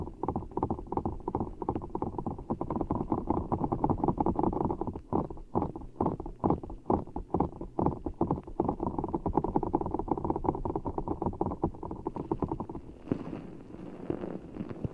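A full, giant blue orbeez ball, made of water gel beads in a clear rubber skin, is held over the mic and squeezed by fingertips, giving a dense run of soft, wet squishing and gurgling crackles in the low and middle range. The squelches come in rapid, uneven pulses that thin into more separate squeezes midway, then fall quieter and airier near the end.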